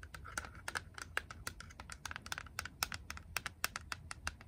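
Long acrylic nails tap and scratch quickly on a small, grey, hollow hard-plastic Game Boy cartridge. The result is a rapid run of dry, bright, clicky taps that stop almost instantly, with faint scratching between them over a low, steady background hum.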